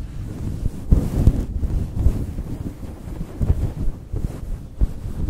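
Both hands scratch and squeeze a soft, fist-sized pink fluffy synthetic faux fur cover over a foam microphone windscreen with fingertips and short nails. The result is a dense, muffled, low rumble like wind buffeting a microphone, with brief deeper thumps scattered through it and almost nothing bright on top.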